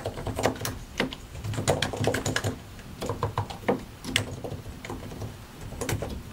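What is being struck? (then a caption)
Mechanical computer keyboard with plastic keycaps. A compact white and grey mechanical computer keyboard with a hollow plastic case and plastic keycaps is typed on with the fingertips of both hands. Quick bursts of clicky keystrokes come in uneven runs with brief pauses. Each keystroke is short and sharp, with a hollow, low plastic thock underneath.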